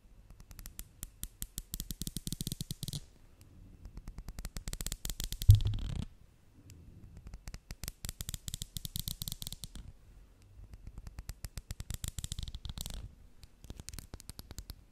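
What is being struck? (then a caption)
Small glass dropper bottle with plastic cap. Long painted nails rapidly tap and scratch along the body and black plastic dropper cap of a small brown amber-glass essential-oil bottle held close to the microphone. The dense clicking comes in about five bursts, with soft low thuds under bright, crisp ticks, and one louder knock near the middle.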